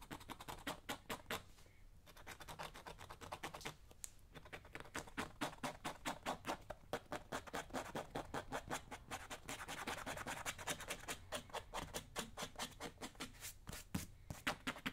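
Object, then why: Leather work boot. A small thin hand tool scrapes over the surface and welt of a solid black leather lace-up work boot, worn on a foot on a shoe shine stand while the other hand steadies it. The result is a rapid, uneven run of short, dry scratching strokes with bright, broadband texture and a little low rumble underneath. The strokes come roughly two to three per second, with brief pauses.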